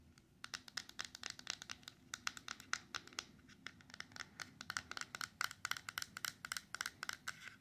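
Long yellow and orange acrylic nails tap and scratch the sides and top of a small, closed, silver-coated cardboard jewelry ring box, hollow with a ring inside, held over a paper towel. Dozens of quick, dry, bright clicks with papery scratching come in an irregular stream, each cutting off almost instantly with no ring.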